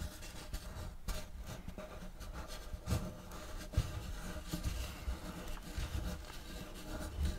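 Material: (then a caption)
Wood. Fingernails lightly scratch and tap across a large, flat, round wooden checkerboard serving tray with a block pattern, solid and empty. Quiet, steady rasping is broken by soft, dull taps that are heavy in the lows and die away at once with no ring.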